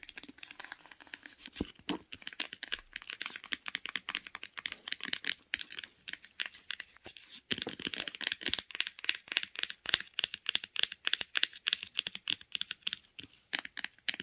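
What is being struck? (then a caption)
Cloth-covered hardcover book. Long pink acrylic nails tap and scratch the grey cloth-covered board cover and spine of a solid, closed hardcover book resting on a woollen blanket. The result is a quick, irregular stream of dry, bright clicks and scratchy rustles with almost no low end and no ring, growing denser and louder about halfway through.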